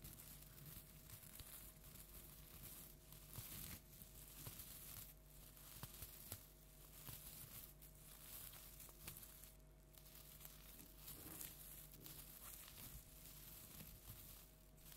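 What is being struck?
Plastic tinsel pumpkin decoration.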